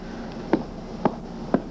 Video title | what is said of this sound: Timber Bridge Inspection in Oregon | we can hear the Punky dull sound this indicates rot